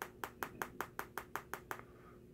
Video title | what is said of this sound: Should you buy the LG G5 and 2018 | that doesn't sound like metal at all